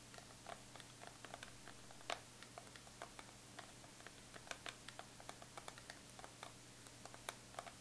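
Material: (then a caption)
Metal. Long pointed acrylic nails tap rapidly on the embossed squares of the lid of a closed Too Faced Chocolate Bar eyeshadow palette, a hollow metal tin lying flat on fur. About 17 quick, light, bright clicks ring briefly over a steady low hum.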